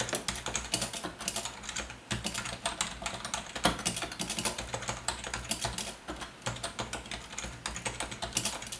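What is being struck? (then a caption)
Plastic membrane keyboard. Fingertips of both hands type quickly on a full-size black plastic Logitech wave-style ergonomic keyboard with a hollow housing and membrane keys. A steady stream of short, bright, clattering key clicks follows, each decaying almost at once, with a soft low hum underneath.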